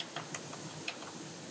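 A live, healthy oyster shell is knocked for comparison with a dead one, giving three quick, bright, clicky taps. The taps sound clearly different from the dead oyster's, against a faint steady hiss.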